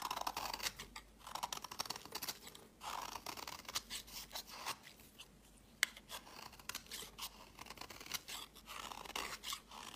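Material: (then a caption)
Soap. A utility knife blade scrapes crumbly flakes off the edge of a solid, palm-sized, pink-and-white striped bar of soap held in the hand. The sound is a quiet run of bright, crisp scraping strokes with almost no low end, broken by brief pauses and one sharper click partway through.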